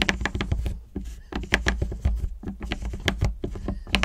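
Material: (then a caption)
Chocolate. Long acrylic nails tap and scratch quickly along the ridged segments of a whole, unwrapped solid milk chocolate bar standing on its long edge on a table. The sound is a rapid, uneven patter of short, sharp clicks mixed with brief scratchy strokes over a steady low hum.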